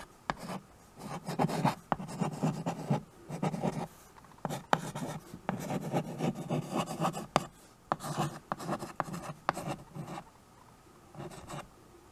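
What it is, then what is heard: Chalk writing on a wood-framed chalkboard. A white chalk stick scratches and rubs across a small wood-framed chalkboard, a solid flat board, while writing. Short bursts of dry, gritty scraping come in separate strokes with brief quiet pauses between them, a few sharp ticks where the chalk taps or catches, and little ring afterward.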